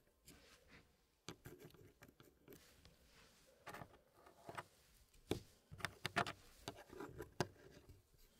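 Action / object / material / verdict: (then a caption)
tap / wooden puzzle pieces in a wooden tray / wood / none. Fingertips place and push solid wood pieces into a small square wooden tray puzzle with a hardwood frame. Quiet, scattered wooden clicks and soft patter come in short bursts, with sharper knocks toward the end as pieces settle into the frame.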